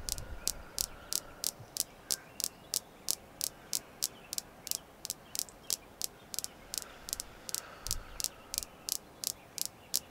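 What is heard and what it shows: A red jasper crystal stone is tapped continuously at a steady pace of about three taps per second. There are 31 short, bright, dry clicks with almost no ring, over a faint low hiss.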